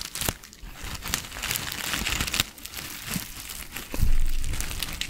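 A small clear plastic zip-lock bag with a white label, partly filled with dried green herbs, is held in both hands and crinkled and squeezed with the fingertips. Soft, irregular plastic crinkling and rustling mix with faint crunching from the herbs inside, broken by sharp bright crackles. A louder burst of crinkling comes near the end.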